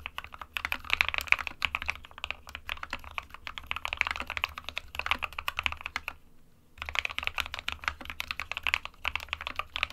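Both hands type with their fingertips on an SK61 small 60% mechanical keyboard with a white plastic case and plastic keycaps, resting on a printed desk mat. Rapid, bright plastic key taps run in steady bursts, with a short pause around the six-second mark before the typing resumes.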